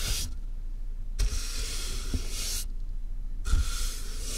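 A soft makeup brush is rubbed over the top of a medium, closed corrugated cardboard box that is hollow with a microphone inside. The strokes make bright, airy swishing hiss separated by short quiet gaps, over a hollow low rumble with a few soft low thumps.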